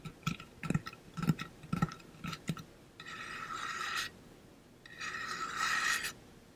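Fingernails tap a hollow pink-blue ombre painted metal water bottle held up close, giving a quick run of short, dull taps with a low body and brief bright clicks. Two longer scratches follow as the nails rasp across the painted surface, each a steady, hissy scrape lasting about a second.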